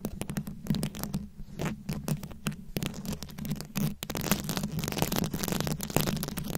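Very long acrylic nails scratch and tap a fist-sized microphone head fully covered in small round rhinestones, likely plastic, held up close. Dense, gritty scratching mixes with quick bright clicks and taps over a steady low hum.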